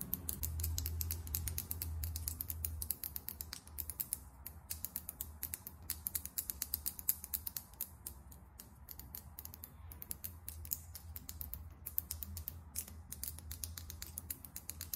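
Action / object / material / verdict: tap / small glass lip gloss tube with metal cap / glass / none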